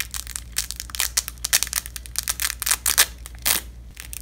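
A long, thin purple nylon hook-and-loop (velcro) strip, folded onto itself and held in black nitrile-gloved fingertips over red cloth, is repeatedly pressed together and ripped apart. A rapid series of short, bright crackling tearing bursts rises and falls in loudness over a faint steady low hum.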